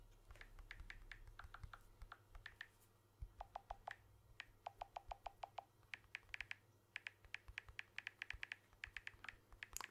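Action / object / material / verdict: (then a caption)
tap / smartphone with glass back and aluminium frame / glass / none. Fingertips tap the glass back and aluminium frame of a blue smartphone held in one hand, ending with close-up tapping. The result is a long series of quick, dry, bright clicks, some with a faint pitched tone near 800 Hz and 2 kHz, over a steady low hum.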